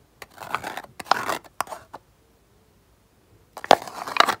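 Fingertips tap and rub the aluminium foil seal on top of a small round plastic jar of cotton pads, held up close. Crisp, crinkly taps and scratchy rubs come in short bright bursts, then a near-silent pause. Louder, sharper taps and rubbing on the foil follow.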